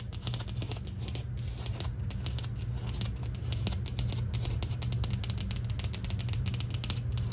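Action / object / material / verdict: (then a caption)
tap / painted drywall wall / drywall / none. Long green nails tap and scratch across a flat interior drywall wall with textured beige paint. A steady stream of quick, crisp taps and scratchy strokes plays over a constant low hum, and the taps grow busier toward the end.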